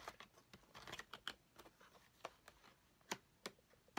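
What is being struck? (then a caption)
Small flat cardboard box with plastic window. A flat cardboard nail-charms kit box with a small plastic window, lying on a table, is tapped and scratched with fingertips and nails. The result is a quiet, irregular run of short, dry taps with bright clicky edges and soft scratching between them, each tap dying away almost at once.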